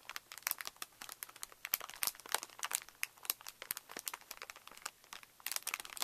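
A clear plastic packet with a printed card header, full of small wooden craft matchsticks, lies flat on newspaper while both hands press and rub it with fingertips and flat palms. This makes a dense, bright crinkling of plastic, with quick sharp ticks and crunches as the sticks shift inside. The sound is steady and close, with almost no low end.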